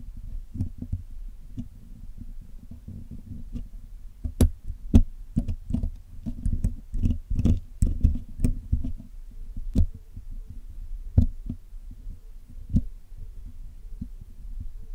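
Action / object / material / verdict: scrape / metal wire mesh microphone grille / metal / none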